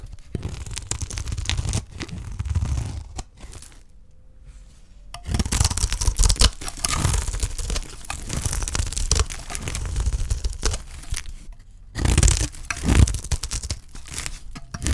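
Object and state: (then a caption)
Dry soap bar being shaved. A solid, dry green soap bar held in the hand is shaved with a utility knife blade into thick curls. The result is a run of crisp, dry scraping and tearing strokes with a low, thumping body and bright grit. There are brief quiet pauses between bursts of shaving.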